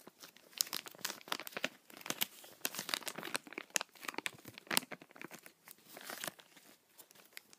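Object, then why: Thin plastic bag. A small, empty, transparent thin plastic bag is held in both hands while fingers crumple and rub it. This makes a steady run of sharp, bright crinkles and crackles with almost no low end. The snaps die away almost instantly.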